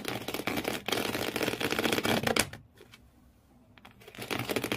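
Both hands with medium-length nails scratch hard at the corrugated cardboard floor inside an empty blue cardboard shoe box. The result is a dense, rapid, rough scraping with a bright, papery texture that stops into near silence for about a second before starting again.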